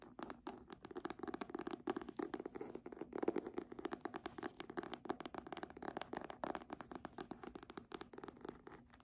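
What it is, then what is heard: Faux-leather hardcover book, nail tapping and scratching. Long nails rapidly tap and scratch the front cover of a red embossed faux-leather hardcover book that is held up and tilted. The result is a quiet, continuous stream of dry, dense clicks and scratchy rustles centered in the low midrange, with each tap dying away almost instantly.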